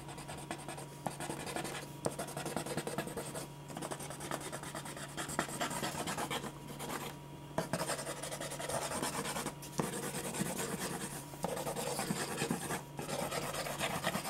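A clear plastic ballpoint pen scratches fast shading strokes across a single thin white sheet of drawing paper lying flat on a dark board. A steady, dry scratching and rubbing runs throughout, with brief pauses between bursts of strokes and a faint low hum underneath.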